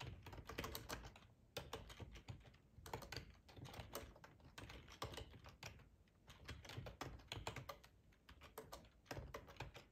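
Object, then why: Plastic computer keyboard. Fingertips type on the keys of a black plastic split ergonomic keyboard with a hollow body, producing quiet, quick runs of tapping. Each short click has a dull, hollow low thud under a brighter tick and dies away almost at once. The typing comes in steady bursts separated by brief pauses.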